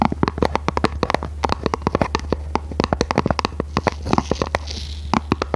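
Long red nails tap and scratch a small, hollow, red printed cardboard box held in both hands, making a rapid run of dozens of short, dry, hollow clicks with almost no ring. Around the fourth second a soft, bright scratching hiss rises briefly between the taps, over a low, steady hum throughout.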